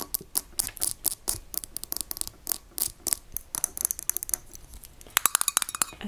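A small glass mason-jar pepper shaker, full of ground pepper and topped with a metal lid, is held up and tapped quickly with long acrylic nails, mostly on the glass and briefly near the lid. The result is a rapid run of sharp, bright clicks with almost no ring, some coming in quick clusters.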